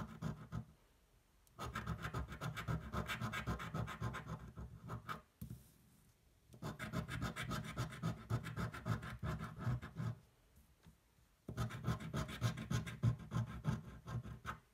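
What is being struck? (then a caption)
Cardboard scratch-off ticket and metal coin. A cardboard scratch-off lottery ticket, a thin flat card held flat on a table, is scratched continuously with the edge of a metal coin. Three long bursts of dense, rapid rasping strokes, heavy in the low end with a dry papery texture, are separated by short quiet pauses.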